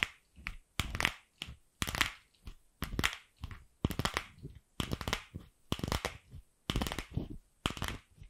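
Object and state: Hollow plastic ball.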